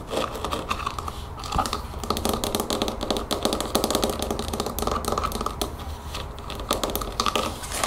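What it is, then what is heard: Plastic spray bottle trigger head. Long fingernails tap rapidly on the white plastic trigger head of a spray bottle. The result is a quick, continuous stream of dry, hollow clicks, much like keyboard typing, with short bright transients over a low steady hum.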